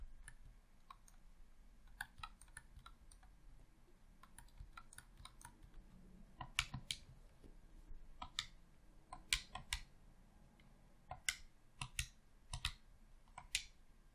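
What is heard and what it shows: A thumb clicks the left thumbstick and buttons of a red, hollow plastic Xbox controller. Quiet, irregular clicking gives way to sharper, brighter clicks in uneven bursts. Each click dies away almost instantly over a faint low background rumble.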